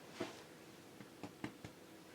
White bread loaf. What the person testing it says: hopefully you could hear how hollow that sounded